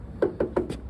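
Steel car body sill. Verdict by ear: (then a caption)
Solid. Four taps land on the welded steel rocker sill of a 1968 MGB roadster, each giving a short, dull thump centered in the low mids that dies away almost at once. The solid thump marks the repaired sill as solid metal rather than filler.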